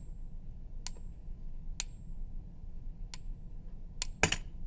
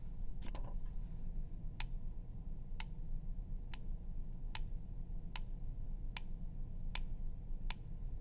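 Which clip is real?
The second.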